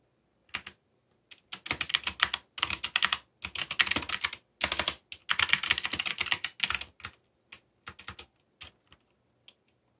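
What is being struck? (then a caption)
Mechanical computer keyboard with plastic keycaps. Fingertips with short nails press and tap the plastic keycaps of a backlit mechanical computer keyboard with Korean/English legends and a yellow backlight in fast typing. Bursts of bright, sharp clicks come in quick runs with brief pauses between them, each click dying away almost instantly.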